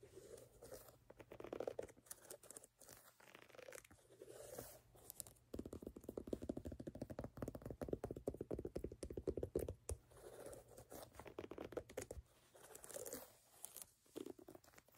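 Fingertips and nails scratch and tap the brown, ridged solid-rubber outsole and heel of a canvas sneaker held sole-up. The result is a quiet, dense run of dry, crunchy scratches with rapid, short taps. Each sound dies out almost instantly, with energy centered in the low-mid range around 400 Hz and a fuller, busier stretch between about 5.5 and 12 seconds.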